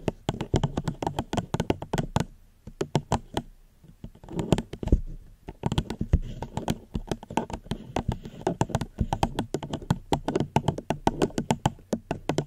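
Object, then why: Plastic cup. A plastic cup is gently tapped close to a microphone in quick, uneven bursts of short, dry taps. The taps are soft and low-weighted with almost no ring, and they pause briefly around the two- and four-second marks before continuing steadily to the end.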